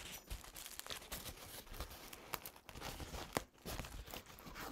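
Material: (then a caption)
Paper. A crumpled, green-paint-stained paper towel is held up close and unfolded with the fingertips, giving a continuous dry crinkling and rustling. The texture is full of quick, sharp crackles that spread from the low end up to bright, airy highs, with a brief quiet dip partway through.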